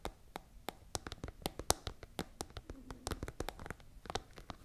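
Long nails tap the top of a tall, hollow, iridescent holographic transparent plastic pencil case with pens visible inside. The result is a rapid, irregular series of crisp, dry clicks with bright edges and almost no ring.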